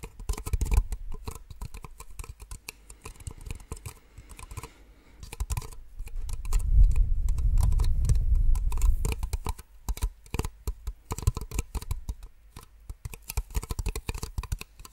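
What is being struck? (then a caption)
Small plastic drinking cups. Long fingernails tap rapidly and irregularly on two identical small, empty, hollow white plastic drinking cups, making sharp, short clicks with soft low knocks. In the middle, the tapping runs together into a louder, denser rustling patter before breaking back into separate clicks.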